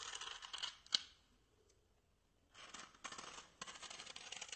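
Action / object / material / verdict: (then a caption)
scrape / small block of styrofoam / polystyrene foam / none. A small, white, solid styrofoam block is held upright and quickly scratched and tapped with fingernails and fingertips, making bright, squeaky friction sounds. Rapid, hissy scratching runs for about a second and ends in one sharp tap, then comes a quiet pause. Scratching bursts resume and continue to the end.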